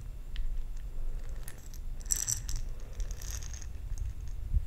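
A glass jar holding plastic perler beads is handled and shaken. The beads rattle and clink in bright, scattered bursts against the glass over a low background rumble.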